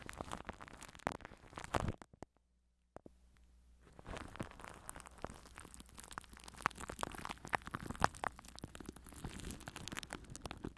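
Fingers scratch, rub and grip plastic cling film wrapped over a microphone grille, making dense, close crackling and crinkling with sharp pops. The sound drops to near silence for about a second just after the two-second mark, then the busy crinkling returns and continues to the end.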